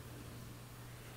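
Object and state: Nothing is struck.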